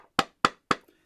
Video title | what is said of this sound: Transformative Healing: The Secrets to Managing Energetic Boundaries | the sound of the wood when I knock my Knuckles on the wood